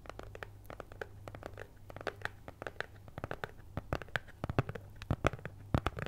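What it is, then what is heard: Cardboard cutout scratched with nails. Long nails scratch a flat, cat-head-shaped cutout of brown kraft cardboard (possibly thin fibreboard), held up in front of the face with both hands. The result is a quiet, uneven run of short, crisp scratching strokes that grow louder and sharper toward the end, over a steady low hum.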